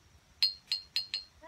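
A glass jar partly filled with water is tapped four times with a wooden dowel, giving a bright, high clinking ring that sounds higher still than the previous jar. Each tap rings briefly and fades quickly.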